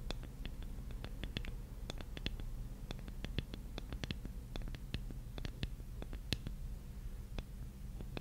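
Long painted nails scratch and tap the surface of a large, flat, solid light-wood jigsaw puzzle piece held in both hands. Quick, dry, bright clicks fall irregularly over a soft scratching texture and a steady low hum underneath. Each tap dies away almost instantly.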